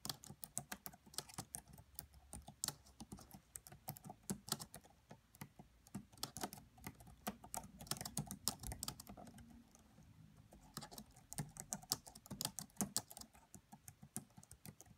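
Fingertips with long nails type on the black plastic keys of a red laptop keyboard, making quick, light, bright clicking taps. The keystrokes come in steady bursts with a short lull around the middle, and each tap dies away almost instantly.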